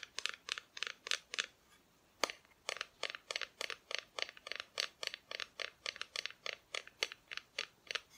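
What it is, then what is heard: Painted wooden Christmas decoration. Long nails tap quickly on the painted front of a flat, solid, painted wooden Christmas cutout of Mrs Claus, a tree and Santa, held in both hands. Around thirty bright, dry clicks with no ring come in a steady rhythm, broken by a short silence and a single sharper tap just after two seconds.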